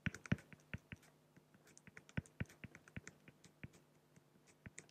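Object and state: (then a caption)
Acrylic glass sheet. A fine-tip pen scratches short hatching strokes across a large, flat, solid acrylic sheet. About 25 quick, dry ticks and scrapes come at an uneven pace, each with a bright high edge and a short low knock. A faint steady low hum sits underneath.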